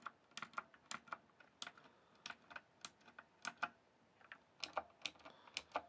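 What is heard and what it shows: Fingertips type on the keys of a full-size backlit plastic RGB computer keyboard, producing about 19 quick, crisp, bright clicks in an uneven rhythm. Each keystroke is short and dry with almost no low end, and the typing stays quiet throughout.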